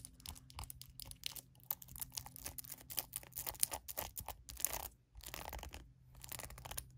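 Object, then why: Plastic hairbrush. A small glossy purple plastic hairbrush is tapped rapidly on its hollow back shell with long acrylic nails, giving quick, dry, bright clicks over a faint low hum. After a brief pause, the nails scratch across the bristles in a crisp, crackling rasp.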